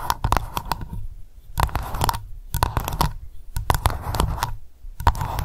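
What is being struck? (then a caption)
Solid candle wax in an open glass jar. Long nails tap fast on the top surface of solid white candle wax filling an open glass jar. The result is bursts of quick, dull, low clicks with a faint scratchy edge, separated by short pauses.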